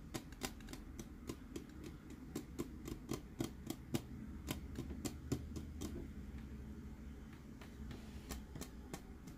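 Fingernails tap on the dome lid and body of a clear plastic glitter light-up Dory tumbler, producing around 28 quick, irregular, dry clicks. Each tap is short and bright with almost no ring, over a steady low hum.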